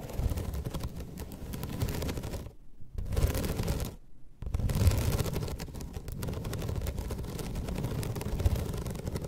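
Long red nails scratch across the ribbed slats of a flat bamboo slat placemat, making a dense, continuous rasping and clicking texture weighted toward low frequencies. The scratching stops briefly twice near the start, then runs steadily to the end.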